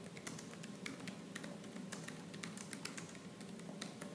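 Rapid, continuous typing on a plastic laptop keyboard with black plastic keys, struck with fingertips and nails. The quiet, crisp taps come in a dense, uneven stream of short, bright clicks that die away almost instantly over a low, steady background.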